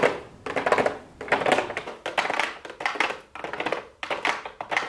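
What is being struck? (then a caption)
Small cardboard makeup box with clear plastic window. Long blue acrylic nails tap with the fingertips on a small, hollow, pink cardboard makeup box with a clear plastic window. Quick clusters of light, crisp taps come in uneven bursts with brief pauses between them, hollow in the mids with a bright clicky edge. Each tap fades quickly with almost no low end.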